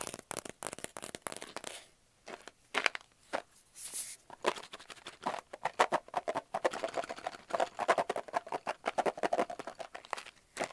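Fingertips and nails rapidly tap and scratch the side of a large, hollow, closed brown kraft cardboard tube held in the hands. Dozens of quick, dry taps with no ring carry a hollow midrange knock, mixed with bright, papery scratching and a brief gap near the two-second mark. There is no low end.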